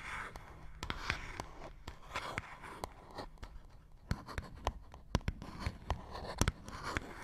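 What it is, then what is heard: Small cardboard box, scratched and tapped. Fingernails scratch and tap a small, hollow printed paperboard box held between the fingers. Soft, rustling scratch strokes come in bursts, broken up by crisp, sharp taps with a faint hollow low thump. Each sound ends dry, with no ring.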